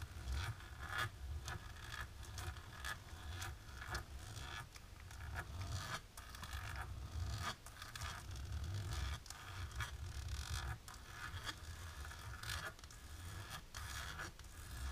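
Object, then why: Embossed plastic sheet scratched with fingernails. Long natural pink nails scratch back and forth across a flat, dark embossed plastic sheet. The result is a steady run of dry, rasping scrapes with brief bright ticks, over a low rumbling undertone.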